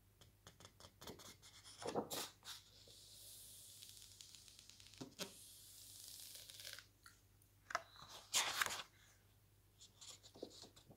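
Pages of a large, thick paper lookbook with glossy photo pages are handled: a hand smooths a page flat with soft, bright rubbing and sliding, then flips to the next page. Quiet crinkles and taps are broken by several louder swishing page turns.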